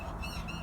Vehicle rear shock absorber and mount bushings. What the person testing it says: Hear the squeaky noise? Sounds like a rocking bed. It's actually the shock absorbers on this thing